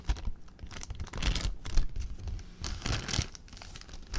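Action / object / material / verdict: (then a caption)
scrape / plastic zip bag / plastic / none. An empty clear plastic zip bag is crumpled and crinkled by hand. Dense, bright crackling rustles come in uneven bursts with short gaps between, over a low thumping rumble from the handling.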